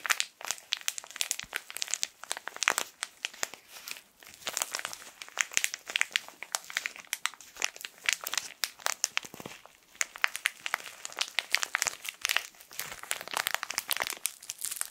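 A small, colorful, full tissue pack wrapped in plastic film is crinkled and rubbed with fingertips in both hands. Dense, bright crackling and crinkling fills the clip in quick, sharp bursts with almost no low end, with brief lulls near 4 and 10 seconds.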